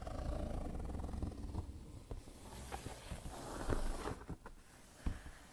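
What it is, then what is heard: Cardboard shoebox being scratched. Both hands rub and scratch with fingertips and nails across the lid of a closed, black-printed cardboard shoebox lying flat on a tiled floor, the hollow box holding shoes inside. The result is a low, rumbling, papery scraping with a few sharper scratchy accents standing out from the steady rubbing.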